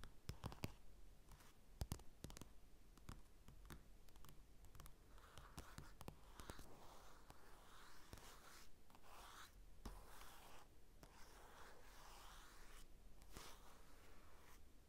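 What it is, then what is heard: Glossy paper magazine. Fingertips scratch and rub the glossy cover of a flat paper magazine lying on a table, near its bottom edge, with a mini mic resting on top. The sound is a quiet, continuous papery scratching and swishing with many brief, sharp ticks scattered throughout, and a low rumble underneath.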